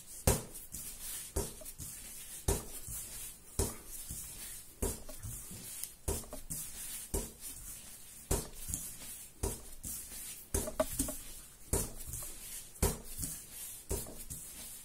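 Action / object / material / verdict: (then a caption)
tap / soft ball of bread dough / dough / none. Bare fingertips and palms repeatedly press and pat a large, soft, solid yellow ball of raisin bread dough on a marble-pattern counter. Each pat gives a dull, low thud with a short bright, sticky squish, coming roughly once a second at an uneven pace. Quieter kneading and squelching fills the gaps between them.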